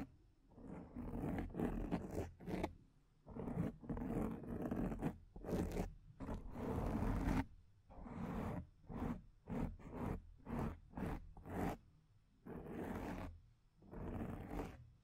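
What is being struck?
Foam microphone windscreen.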